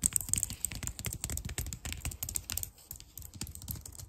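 Long dark nails type rapidly and tap on the keys of a white plastic computer keyboard. The clicks come in a dense, uneven stream of short, sharp snaps with a bright edge and a soft low thump beneath, with no ring after each hit.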